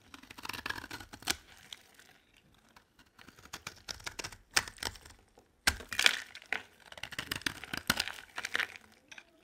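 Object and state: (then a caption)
Dry soap bar being scraped. A utility knife blade carves and scrapes a solid rectangular white bar of dry soap held in the hand, cutting it into chips. Crisp, bright scraping and crackling come in short bursts, with quiet pauses between strokes and sharper snaps as pieces break away.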